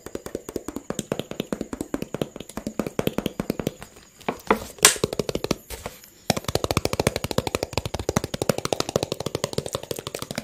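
A hollow, empty clear PET water bottle with a teal label and cap is held horizontally and tapped rapidly with fingertips and nails, producing dozens of quick, hollow plastic taps with a mid-pitched ring. Around the middle the tapping thins out and a brighter crinkling scrape stands out. Then a steady, louder run of taps resumes to the end.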